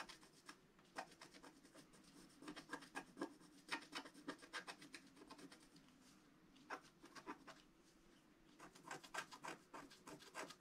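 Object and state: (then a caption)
Scratch-art paper being scratched. A wooden stylus held in the fingers scratches the black coating off a flat scratch-art paper page lying on a cloth, in short strokes. Quiet, dry, raspy scrapes come in quick, uneven bursts with bright edges and brief lulls near the middle and just before the end.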